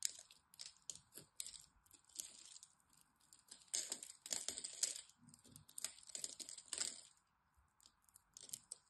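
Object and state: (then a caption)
Bar soap being scraped. A black blade cuts and scrapes crumbly chips from the surface of a solid green bar soap held in both hands. The sound is a series of quiet, bright, crisp scraping and crackling bursts with brief pauses between strokes, and almost no low end.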